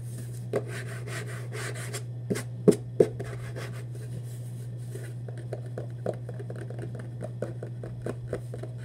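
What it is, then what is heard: Cardboard shoebox scratched. Fingernails scratch and rub across the printed surface of a hollow Vans cardboard shoebox held in both hands. Quick, uneven strokes of dry rasping sit over a steady low hum, with a few sharper taps standing out near the three-second mark.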